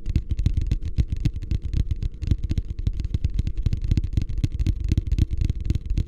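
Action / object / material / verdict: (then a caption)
tap / plastic wastebasket / plastic / none. A medium beige plastic hotel wastebasket, hollow and empty, is held upside down in both hands while fingertips tap rapidly on its bottom and sides. The result is a steady stream of short, dull, hollow thumps, deep and boomy with almost no high end, each dying away instantly.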